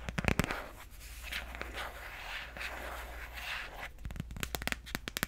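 A handheld smartphone in a white hard plastic case with a pineapple print has its back tapped and scratched by long nails. Sharp, clicky taps come in quick bursts at the start and end. In between, a steadier stretch of softer scratching and rubbing sits over a low background hum.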